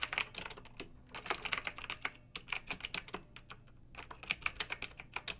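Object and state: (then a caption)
Mechanical keyboard being typed on. Two hands with long pink nails type with their fingertips on a pink backlit typewriter-style mechanical keyboard with a plastic body and round metal-rimmed keycaps. A rapid, uneven run of sharp, bright key clicks with almost no low end and very short decay, broken by a brief quieter lull before the typing picks up again.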